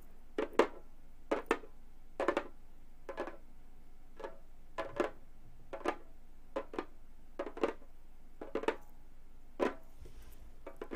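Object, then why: Frame drum with synthetic head. Long gold metal claw nails tap the upper edge and center of the synthetic head on a hollow Remo frame drum. Short, dry midrange taps come in irregular small clusters, each dying away almost at once.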